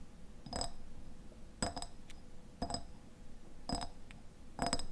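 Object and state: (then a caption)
Glass jam jar. Fingernails tap and scratch the sides of a medium, mostly empty clear glass jam jar with a white lid, held in the hands. Five bursts of quick, doubled clinks come about a second apart. Each rings bright and glassy and dies away fast.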